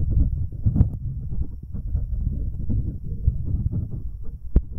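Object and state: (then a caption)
Metal microphone capsule rubbed by a rubber-covered finger. An index finger wearing a rubber finger cot rubs the left capsule of a pair of metal binaural microphones. The result is a close, muffled, deep rumbling and thumping that stays almost entirely in the low bass, with a few sharper bumps and one crisp click near the end.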